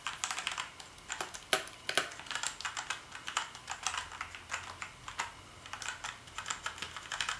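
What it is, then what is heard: Plastic keyboard being typed on. One hand types rapidly with its fingertips on a black plastic gaming keyboard with blue backlit keys. The keystrokes come as a fast, uneven run of short, bright plastic clacks with almost no low end, and each tap dies away almost instantly.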